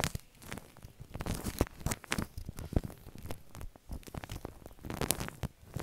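Fingers push and drag through a large mound of white shaving cream foam on a plastic sheet, squishing it. The result is a soft, continuous stream of wet squelches and crackling pops, with a low, thick body and quick, bright snaps over about six seconds.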